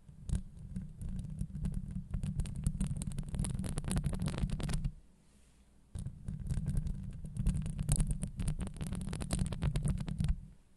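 Long acrylic nails scratch a hollow steel wire-mesh microphone grille, first across the top and then along the sides. The result is a dense, rapid, crackling scrape with a deep, booming low end and bright, sizzling clicks above. The scratching pauses briefly at about five seconds before starting again.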